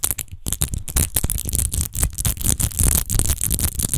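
Long nails quickly scratch the rose-textured base of a large, hollow, clear glass rose-shaped wine bottle that appears empty. The result is a dense, rapid run of raspy scrapes with a bright, high hiss over a heavy low rumble.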